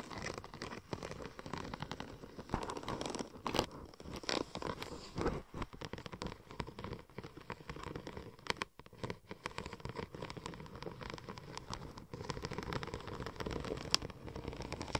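Long nails scratch the raised tread pattern of a curved sheet of silver checker-plate-pattern vinyl wrap film. The result is a steady, dense run of quick, dry scratching and crinkling textures with many sharp ticks and brief louder strokes throughout.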